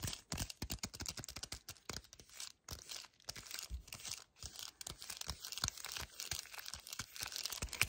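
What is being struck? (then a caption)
Small cardboard box. Painted nails rapidly tap and scratch a small, full, yellow cardboard chocolate bar box while hands grip it, holding it upright and then sideways. The result is a dense, bright stream of quick dry clicks and scratchy, crinkling rasps with brief pauses between bursts.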